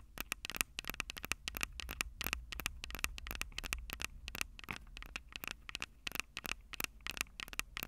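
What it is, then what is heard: Metal microphone capsules tapped with fingernails. Long purple nails tap rapidly on the metal microphone capsules of a Tascam DR-05 recorder. Sharp, dry clicks with almost no ring carry a bright metallic tone around 2.6 kHz over a faint low rumble.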